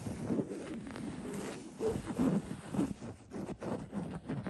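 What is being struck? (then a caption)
Linen-covered throw pillow. Fingertips scratch the coarse fabric of a cream linen-weave printed throw pillow. A soft, dull scratching rustles in uneven bursts, mostly low and muffled with little brightness, over a steady faint hiss.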